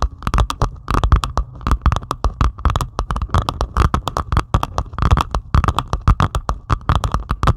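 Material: Plastic resin.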